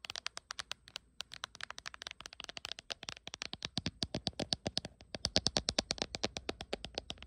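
Long acrylic nails tap rapidly on the back of a small smartphone in a glossy, printed dragon-pattern hard plastic case held in both hands. Dozens of sharp, bright, clicky taps with almost no ring come in a steady stream, with a brief gap near the first second. The taps grow louder and crisper in the second half.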